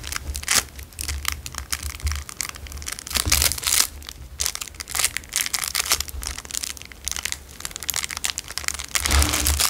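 A narrow clear cellophane wrapper is twisted and crunched between fingers. Dense, bright crinkling and crackling comes in irregular bursts over a soft low rumble. The crunching swells louder and denser near the end.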